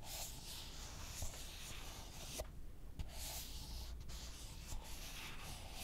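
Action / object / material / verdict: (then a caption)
scrape / small clear plastic cup / plastic / none. A small, empty, hollow, clear translucent plastic cup is held in both hands in front of the microphone while short fingertips and nails scratch and tap its sides. A steady, bright, scratchy rasp runs throughout over a low rumble, with a few short, dry taps standing out that stop almost instantly.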